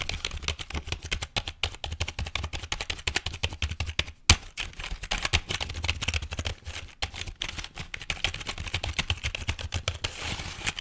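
Fingertips rapidly tap and type on the keys of a full-size, hollow, black plastic computer keyboard held over and beside the microphone. The result is a dense stream of short, dry clicks with bright upper clatter and a low hollow thump beneath, broken by a brief pause and one sharp louder tap around the four-second mark.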